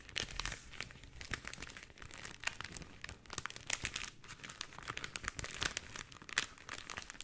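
A tube of rolled pink cellophane is twisted and squeezed in both hands with long painted nails, producing a dense run of bright, crisp crinkles and crackles. The short sharp snaps overlap continuously for the whole clip, with little low end and no lingering ring.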